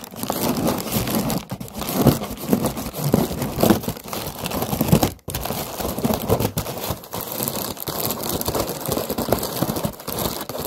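Long nails tap and scratch the paper of an orange, round paper lantern with a wire frame, hollow and light. The result is a steady, dense crinkling and rustling with soft taps, mostly low-to-mid in tone, broken by a brief silence about halfway through.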